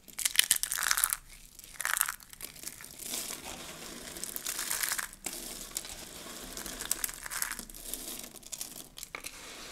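Fingertips press down on a heap of dry, broken curled soap shavings and crush the pile. Bright, crisp crinkling and crunching comes in dense bursts, with louder crackly surges and quieter rustling in between and almost no low end.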